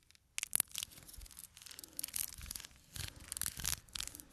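Fingernails scratch and tap the edges and faces of a small, full cardboard box of playing cards held in the hand. The result is a quick run of dry, bright scratching bursts and sharp, crisp taps with almost no ring, sometimes with faint low thumps under them.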